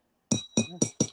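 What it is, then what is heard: Glass cup, real glass. A glass cup is tapped four times, giving short clinks with a bright high ring over a low body. The clear glassy ring confirms the cup is real glass, the kind served in business class.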